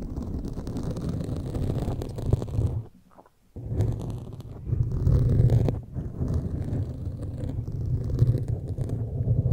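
Pointed metal claw fingertip extensions scratch the foam sides of a black foam windscreen on a large microphone. The result is a dense, muffled, low rumbling scrape with almost no high content. It pauses briefly near silence around three seconds, then swells louder in the middle before settling back to a steady scratching.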